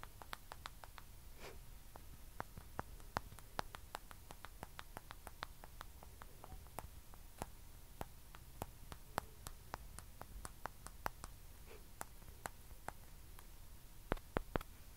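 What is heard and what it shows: A small, hollow white plastic ping pong ball is held in the hand while fingertips and long nails tap rapidly on its surface. Sharp, very short bright clicks come in quick, uneven bursts over a quiet, low background hum.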